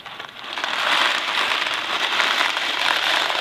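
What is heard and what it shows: A thin cardboard Kraft macaroni & cheese box filled with dry pasta is held in two hands, tilted and shaken while fingertips handle its surface. It makes a dense, continuous crackling rattle of pasta shifting inside, concentrated in the mid-to-high range with almost no low end. The sound swells from a quiet start over the first second, then holds steady.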